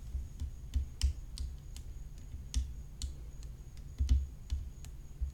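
Long fingernails tap on the hollow composite rim of a graphite composite tennis racket whose head is decorated with rhinestones. About fourteen light, irregular taps each give a short, bright click over a soft low thump, with a faint steady high tone underneath.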